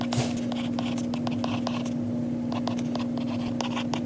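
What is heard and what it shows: A lilac Apple Pencil's plastic tip, held in the fingers, writes on the glass touchscreen of an iPad lying flat, tapping and scratching across the glass. Quick, bright ticks and soft scratchy strokes come in a steady stream over a constant low hum.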